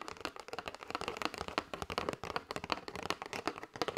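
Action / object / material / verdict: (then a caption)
tap / cardboard box of paper straws / cardboard / none. Long white nails tap rapidly across the front and edges of a flat kraft cardboard box with a clear window, full of paper straws and held in both hands. The result is a dense stream of quick, dry, clicky taps with a light crinkly crackle, centered in the mids with little low end and no ring.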